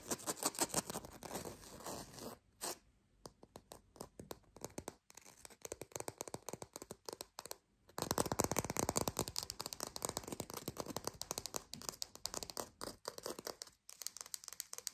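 Long pink fingernails fast-tap and scratch a small green artificial plastic lime, producing rapid, crisp, bright clicks and rough scraping with almost no ring. The dense tapping thins to quieter, sparser taps for a few seconds, then returns louder and thicker for the rest of the clip, broken by a brief pause near the end.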